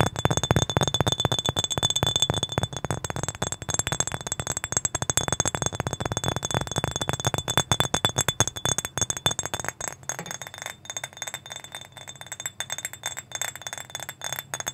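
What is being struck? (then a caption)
Small glass bottle with metal cap. A small, clear, mostly empty glass bottle with a metal cap is held in both hands right at the microphone. Fingertips and nails tap it and clink along it in quick, uneven bursts, giving bright glassy ticks over a low body. Around the tenth second the low end thins out and the taps sound lighter.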